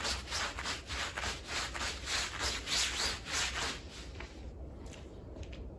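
A green plastic bristle broom is rubbed and scrubbed across the surface of a small, wet, soapy Persian-style woven pile rug lying flat. Rhythmic, bright, hissing scrub strokes repeat steadily over a low rumble, then fade after about four seconds into quieter, sparse brushing.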